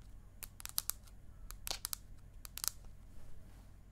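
Long acrylic nails and a fingernail tip tap on the aluminium back of an iPad mini, held horizontally and vertically. The quick, scattered taps make bright, dry clicks that die away almost instantly over a faint low hum.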